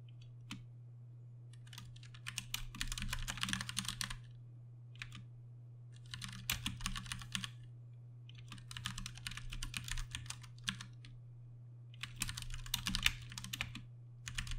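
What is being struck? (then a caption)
Plastic mechanical keyboard. Fingertips type steadily on a Ducky One 2 Mini, a compact mechanical keyboard with Cherry MX Brown switches and dark plastic keycaps. Rapid, bright, clacky keystrokes come in several bursts separated by short pauses, over a steady low hum.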